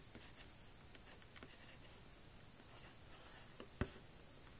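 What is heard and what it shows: A white plastic stylus on a string is scratched and drawn across the screen of a small pink plastic magnetic drawing board lying flat on a table. Faint, soft scratching strokes run through a quiet, hushed background, ending with one sharper tap near the end.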